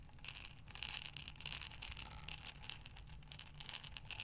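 A glass mason jar with a metal lid, filled with small buttons, is held sideways and rolled in both hands. The buttons clink and rattle against the glass in a dense, continuous stream of bright, high, short clicks that swell and fade in waves.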